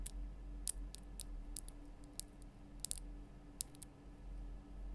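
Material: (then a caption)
Rock salt. Long nails tap the sides of a large, lit, pink Himalayan rock-salt lamp, a solid rough crystal block. About a dozen short, bright, dry clicks land at irregular intervals and die away almost instantly. A quiet, steady low hum runs underneath throughout.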